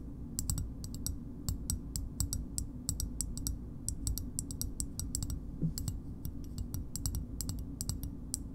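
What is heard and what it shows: Long nails tap steadily on the concave back of a green, hollow plastic bottle opener about 15 cm long. Each tap makes a quick, bright, hollow click that fades fast, in an uneven rhythm over a low, steady background hum.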